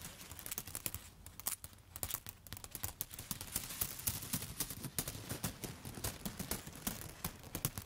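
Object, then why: Bundle of dry spaghetti sticks. A handful of long, dry yellow spaghetti sticks held upright is tapped and scratched with long, foil-covered pointed nail tips. The result is a steady stream of quick, crisp clicks and brittle scratching, with bright snaps over a soft low rumble. Each tap dies away almost at once.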